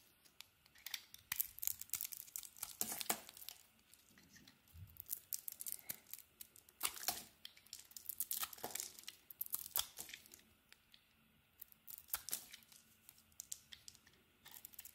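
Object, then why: Bar of soap cut with a metal blade. A hand-sized solid bar of soap, with a green core and a glossy blue patterned outer layer, is held in one hand and carved with a metal utility-knife blade that shaves off chips. Bursts of crisp, bright scraping and cutting strokes crackle and rasp, separated by brief quieter pauses.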